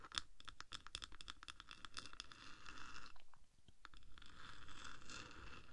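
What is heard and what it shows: Long acrylic nails of both hands scratch and tap along the top of the hollow black metal body of a 3Dio binaural microphone, about 10 cm long. Dense, quick scratches and clicky taps overlap in a busy, bright texture, dip briefly to near silence, then return as a steadier hissing scrape.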